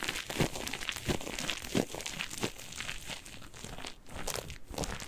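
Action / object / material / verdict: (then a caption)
scrape / cellulose kitchen sponge with scouring layer / cellulose / none. A single yellow cellulose kitchen sponge with a green scouring layer, soft and porous, is squeezed and scratched with fingertips and nails. The result is an irregular run of short, dry crinkling and crunching bursts with bright, scratchy texture and soft, low squishy thuds beneath.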